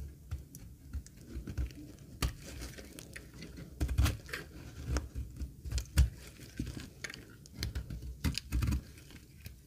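A thin, solid, dry green laundry soap bar held in the palm is scraped with a metal box-cutter blade. It gives a run of short, dry, crackling scrapes and crumbly shaves, heavy in low thuds with brief bright ticks that die away almost at once.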